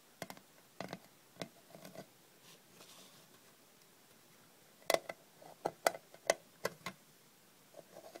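A small closed rectangular metal cough drop tin, hollow with lozenges inside, is tapped on the lid with long red-painted nails, then lifted and tapped while held in the hand. Short, dry, tinny clicks with a hollow midrange tone and bright edges on the harder taps come in irregular bursts around a quiet pause, each dying away almost instantly.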